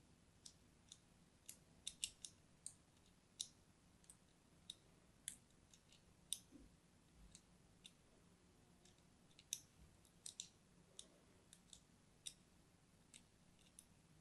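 A small metal blade scores lines into the surface of a pink-and-white striped solid bar of soap, making 23 short, sharp scratching clicks that are high and bright and end almost instantly. Between the scrapes there is only a faint, steady low hum.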